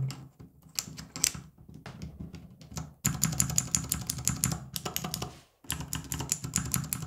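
A small acrylic mechanical keyboard switch tester, almost fully capped with plastic keycaps, is typed on with the fingertips of both hands, with a few loose keycaps lying nearby untouched. Quieter, scattered clacks come first, then bursts of fast, dense typing with bright, sharp clicks and short pauses between runs.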